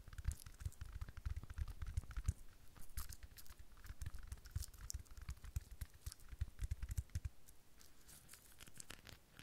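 Long fingernails tap rapidly on a rhinestone-studded decorative sphere held close in both hands. The result is a dense, fast patter of short, dry clicks with a deep thumping low end and bright, crisp edges that scratch and crinkle.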